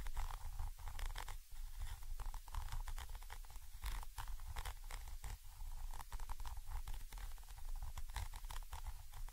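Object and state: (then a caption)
Metal microphone capsule. A thin orange stick scratches down on a Zoom H5 XY microphone capsule, a small chrome metal body with mesh grilles. It makes a steady, deep rumbling scrape with quick bursts of scratchy crackle and patter, close and heavy in the low end.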